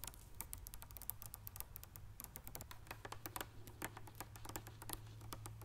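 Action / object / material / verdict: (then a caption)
tap / plastic water bottle, partly filled / plastic / none. A large clear plastic Levissima mineral water bottle with a green cap, partly filled with water, is held in one hand and tapped rapidly with long dark-painted fingernails. The sound is a quick, irregular run of sharp, bright clicks and ticks that die away almost at once, over a steady low hum.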